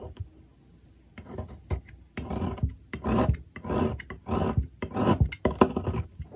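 A metal blade scrapes curls off the cut face of a solid, partly shaved blue bar of soap on a table. The result is a series of soft, rasping scrapes in uneven strokes, with a dull low body, a brief bright edge and almost no ring after each pass.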